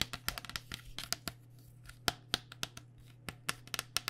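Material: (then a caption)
Plastic. A white, hollow cycling helmet with a plastic shell over foam is tapped on the top shell with long dark nails. About nineteen quick, dry, bright clicks land in uneven bursts, each dying away almost at once, over a faint steady low hum.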